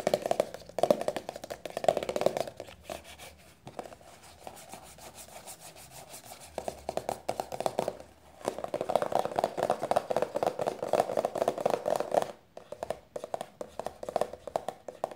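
Long nails rapidly tap and rub a small, hollow white-and-blue plastic cosmetic squeeze tube resting on a blanket. Bursts of quick, hollow, mid-pitched clicking alternate with a quieter stretch of soft rubbing in the middle. The tapping ends with a few lighter taps.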